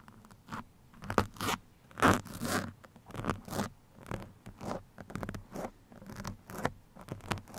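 Two metal pins held in the fingertips scratch across a black foam microphone windscreen. The result is a series of uneven, bright, scratchy rustling bursts with short pauses between them, like fabric or a zipper being dragged. Some strokes land louder and crunchier than others.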